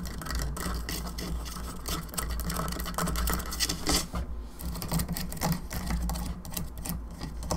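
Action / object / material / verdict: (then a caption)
tap / plastic skull candelabra lamp / plastic / none. Long fingernails tap rapidly on the top and bone arms of a hollow plastic skull candelabra lamp. The taps are quick, bright and clicky with a hollow ring around 170 Hz, running continuously over a steady low hum.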